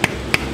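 Two taps on the bottom crust of a finished artisan bread loaf made from a very wet dough give short, hollow knocks with a bright ring near 2.3 kHz. The hollow sound shows a good crust, and the loaf proves cooked all the way through.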